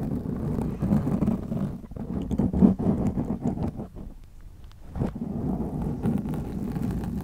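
Long glittery acrylic nails scratch a black foam windscreen on a white microphone, producing a dense, muffled, low rumbling scrape with irregular rustling bursts. The sound stays dark and bass-heavy, eases briefly near the middle of the clip, then picks back up to a steady scratching.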